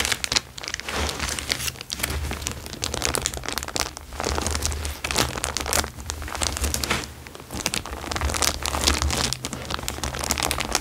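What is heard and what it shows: A thin, transparent plastic bag is held and crinkled by hand, then laid flat on a fabric surface and pressed and rubbed with fingertips. The result is dense, continuous, bright crinkling and crackling in uneven surges, over a steady low hum.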